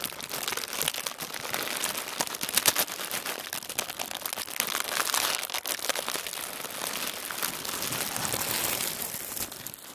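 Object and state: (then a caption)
Tissue paper sheet. A large, crinkled sheet of thin tissue paper is rubbed and gathered with both hands on a wooden table. It makes a dense, continuous bright crinkling and crackling with almost no low end, swelling and easing in loudness throughout.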